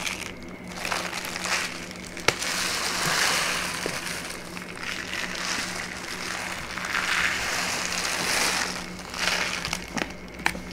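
A brown kraft paper pouch with a white label, hollow and lightly filled, is turned over in the hands and squeezed and crinkled with fingertips and long nails. Bright, dry paper crackling comes in swelling waves, broken by a few sharp clicks.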